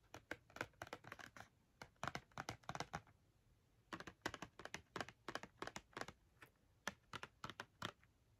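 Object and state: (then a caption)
Cardboard marker box tapped with fingernails. Long nails tap and scratch the front face of a small, hollow Crayola cardboard box filled with markers, held in the hands. The result is quick, dry, papery clicks and scrapes in bursts, with a short pause near the middle and very little ring after each hit.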